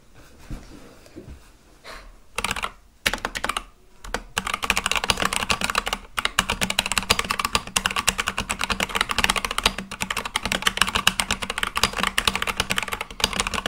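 Fingertips type on a full-size Akko mechanical keyboard with white and light-blue plastic keycaps on a black case. A few scattered soft taps give way to a short pause, then typing resumes as a steady, fast run of crisp, bright clacks that die away quickly.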